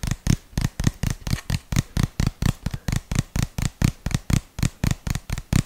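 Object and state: Plastic jar.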